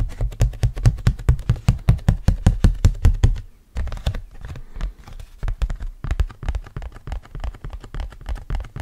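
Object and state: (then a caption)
Cardboard hand fan. A round, thin, printed cardboard hand fan (a Campbell Camel basketball fan), held in both hands, is scratched and tapped with fingernails. It gives a quick run of dull, low, thumpy taps with very short ring. After a brief pause near the middle, softer, irregular tapping and scratching follows.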